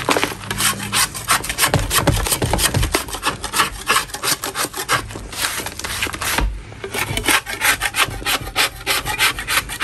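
A large solid block of natural chalk is scraped over and over with a metal spatula blade, knocking off powdery crumbs. Quick, uneven rasping strokes give a dry, gritty scraping with a bright, hissy edge.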